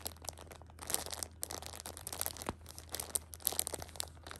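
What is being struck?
Tissue pack in thin plastic film.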